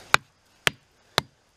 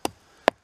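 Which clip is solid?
The second.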